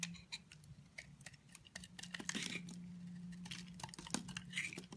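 A utility knife blade shaves curls off the edge of a solid, dry, translucent brown bar of soap held in the hand. The clip is a quiet run of short, crisp scraping ticks and crackles, bright and dry with almost no ring. A faint, steady low hum runs underneath.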